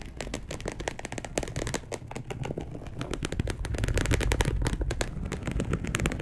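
A dark polyester mesh bed sheet is scratched rapidly with long acrylic nails of both hands. The result is a dense, irregular run of quick crackling scrapes with bright clicky edges over a heavy low rumble, growing slightly louder toward the end.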